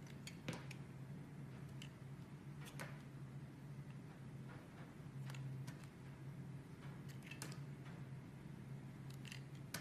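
A metal blade scrapes and carves thin slices off the face of a solid, rectangular, translucent green and white swirled bar soap held in both hands with long red nails. Soft, crisp scraping strokes and brief sharp clicks sound over a steady low hum.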